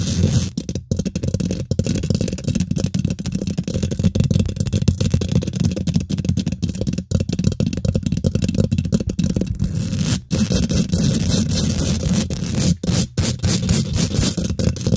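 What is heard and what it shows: Fingernails scratch rapidly over the hollow steel mesh grille of a microphone head, producing a dense, continuous rasping rattle dominated by a low, boomy rumble. The scratching runs almost nonstop, with only a few brief drops in level.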